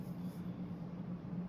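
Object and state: Nothing is struck.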